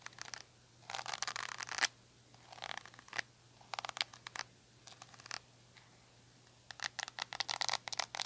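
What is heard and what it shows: Long nails scratch the rubbery bristles and back of a small black handle-less plastic detangling hair brush. Bursts of dry, bright scratching and light clicking come in irregular clusters separated by short quiet gaps, with a faint low hum underneath.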